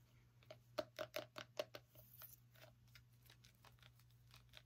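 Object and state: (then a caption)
Small pumpkin. Fingernails tap and scratch on a small orange pumpkin with a stem. A quick run of sharp, hollow-toned taps with a mid-range ring comes first, then softer, quieter scratches over a steady low hum.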